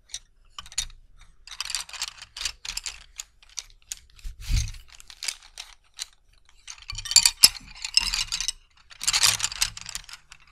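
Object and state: Wooden colored pencils.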